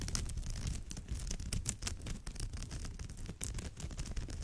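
Long nails scratch across the surface of a woven straw bag in close-up, making a continuous dry, rasping scrape. The scratching has many quick bright strokes over a steady low rumble.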